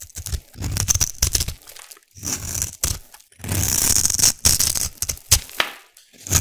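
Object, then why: Soap cube. A metal blade scrapes and slices across the scored surface of a solid black glittery soap cube held in hand. The result is a run of crisp, bright crackling and crunchy tearing sounds in short bursts, each with a dull low thud beneath it. Longer scraping passes sit between quick, sharp cuts.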